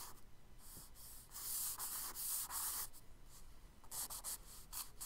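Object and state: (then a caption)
Charcoal stick scratching on kraft paper. A charcoal stick rubs and scratches diagonal lines across a tan kraft paper page of a spiral sketchbook in repeated quick strokes. The sound is a dry, bright, hissing scrape that comes in short bursts, with a louder, denser stretch of rubbing in the middle and crisper separate strokes toward the end.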